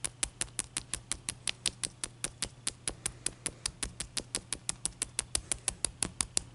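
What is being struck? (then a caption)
Large block of ice. Long dark-painted nails and fingertips tap a large, clear, solid block of ice resting on a white towel, then a knuckle knocks it. The result is a steady, even series of sharp, dry, bright clicks with almost no ring, over a faint low hum.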